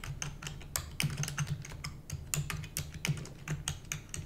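Both hands rapidly type on a full-size black plastic computer keyboard with hollow keys, using long nails and fingertips. It makes a fast, dense stream of short, bright clicks over a hollow, low thudding from the keys bottoming out, and each keystroke dies away almost at once.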